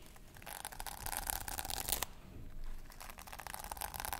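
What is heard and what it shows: A small flat pouch covered in pink sequins is held in one hand while long nails scratch and brush across the sequins. The result is a crisp, bright, crinkly rustling with quick scraping bursts and a brief quieter pause near the middle before the scratching picks up again.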